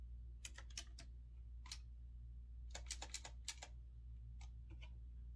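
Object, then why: Typewriter-style mechanical keyboard with round keycaps. Fingertips type on a retro typewriter-style mechanical keyboard with round backlit keycaps and a metal-look frame. Sharp, bright clicky keystrokes come in short irregular bursts, each decaying almost instantly. A steady low hum runs underneath throughout.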